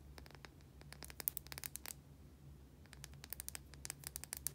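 A white, solid oval bar of soap held in both hands is scratched and tapped with long painted nails. Quick, dry, bright clicks and short scratchy strokes come in clusters over a steady low hum, with a calmer stretch in the middle. The sound stays quiet and close, and each tap dies away at once.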